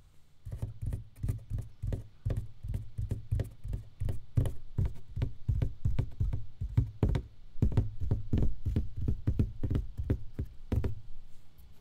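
An empty box is tapped with quick, uneven taps for about twelve seconds. Each tap is a short, dull, low thud that dies away almost at once, with little high-frequency content.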